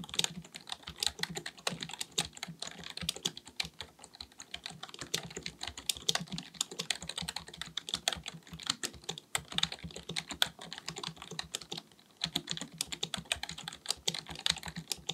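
Fingertips of both hands type rapidly on a black full-size plastic computer keyboard resting on a desk. The result is a steady stream of short, bright clicking key taps that peak around 3.4 kHz, with a brief pause near the 12-second mark before the typing resumes.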